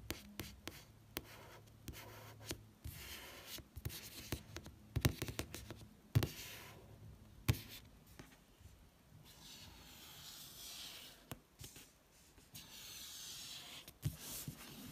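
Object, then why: Paperback book with matte card cover. A fingertip traces the barcode on the matte card back cover of a paperback book, making a soft, dry scratching hiss. Fingers then tap and rub the cover, giving quiet, irregular sharp taps between stretches of brushing friction with bright edges over a low, dull body.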